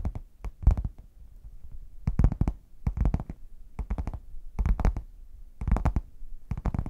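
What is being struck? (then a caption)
Padded faux leather zip case. Long nails tap and scratch the printed front of a red, padded faux leather zip case that is hollow, closed and tilted. Quick clusters of soft, dull, low-pitched taps come in bursts with brief scratchy rustles between them, each tap dying away almost instantly.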